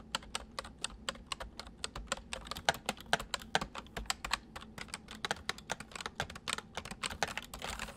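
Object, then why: Plastic mechanical computer keyboard. Fingertips of both hands type fast on a white full-size plastic MSI mechanical keyboard with hollow keycaps, set on a wooden desk. A steady, dense run of short, sharp key clicks rattles out, each bright and dying away almost instantly, with a faint low thud under the strokes.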